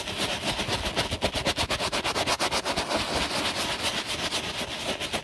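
A bristle brush scrubs the foamy side of a black quilted leather handbag. The result is a steady run of quick, bright, raspy brush strokes with a soft frothy hiss underneath.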